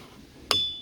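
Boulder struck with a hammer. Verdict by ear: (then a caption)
Ringing. A boulder in a ringing rocks boulder field is struck once with a hammer. It gives a sharp metallic strike followed by a bright, clear ringing tone that sustains for a moment before fading.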